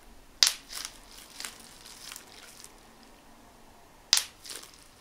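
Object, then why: Plastic bubble wrap. A clear plastic bubble wrap sheet is held in front of the chest while individual air bubbles are squeezed and popped between thumb and fingertips. Two loud, sharp, bright snapping pops stand out, each followed by softer crinkling of the plastic, with very little low end and almost no ring.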